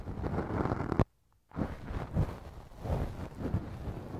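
A thin wooden earpick held in fingers scrapes and rubs inside the left ear of a soft, solid silicone ear cover mounted on a binaural microphone. The result is a dense, low, muffled rustling and scratching with soft thumping swells. A brief near-silence falls just after the first second before the rubbing resumes.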